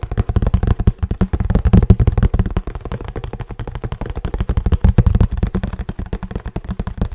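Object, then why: Cardboard box. Fingertips tap rapidly on a hollow kraft cardboard box with a blue band, held tilted. The taps are dull, low, hollow thumps with almost no high end, each dying away quickly in a fast, uneven patter that swells and eases over the clip.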